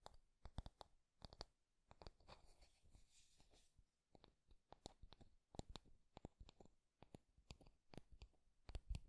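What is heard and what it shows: Fingertips and nails tap along the solid wooden handle of an oval wooden hairbrush with wooden bristle pins, and scratch and stroke across its bristles. The result is a quiet series of sharp, dry clicks, with a soft, hissing brushing passage partway through.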